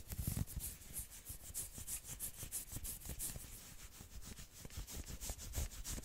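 Long nails scratch fast along the forearm of a dark red and black knit sweater sleeve. The result is a quiet, steady run of rapid, rough scratching strokes, each a bright, hissy rasp over soft low rubbing thumps.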